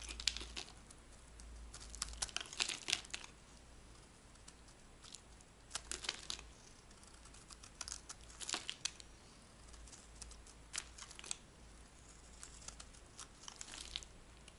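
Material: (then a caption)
Soap. A dry, magenta-pink rectangular soap bar held in the hand is scraped with a metal blade into curls. Short bursts of crisp, bright crackling and crinkling scrapes come in clusters with quiet pauses between them, over a faint steady low hum.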